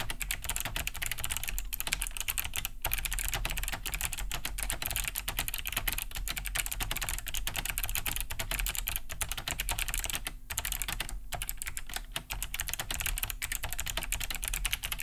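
Both hands type fast on a large beige Cherry G80-3000 mechanical keyboard with a hollow plastic case and thick plastic keycaps, fitted with Kailh BOX White switches and resting on a wooden desk. A steady stream of quick, clicky key-switch taps runs throughout, each bright and short with almost no ring, over a low hum.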